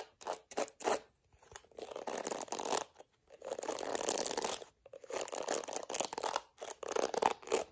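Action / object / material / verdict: scrape / plastic detangling hairbrush / plastic / none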